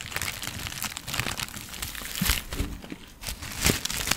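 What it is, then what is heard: Plastic zip bag of dried herbs. A small clear plastic zip-lock bag, partly filled with dried green herbs and bearing a white label, is held in both hands and crinkled and squeezed with fingertips. Soft, continuous crackly crinkling fills the clip, with brighter, louder crunches standing out now and then. The sound is quiet and close, with no ringing after each crinkle.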